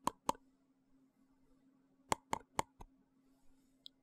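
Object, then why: Small frosted plastic box. A small, hollow, translucent frosted plastic box is held and tapped or clicked at the lid with the fingers. Six short, dry, hollow clicks centered around 900 Hz come as two quick taps, a pause, then four more, over a faint steady low hum. A tiny high tick follows near the end.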